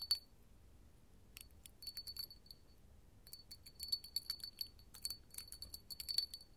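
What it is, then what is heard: Hobnail glass candle holder. A small, empty, clear hobnail glass candle holder, held in the palm, is tapped with long gold metal finger claws. The result is quick, irregular bursts of bright, high glassy clinks with a short, thin ring, separated by brief pauses.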